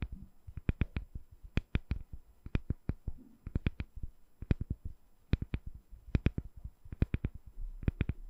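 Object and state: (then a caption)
Glycerin soap bar tapped with nails. Long nails tap a palm-sized, solid, translucent glycerin soap bar with colorful soap balls set inside, held in one hand. About thirty quick, irregular taps sound as dull low thuds with bright clicky tips. Each tap dies away almost at once, leaving a quiet background between.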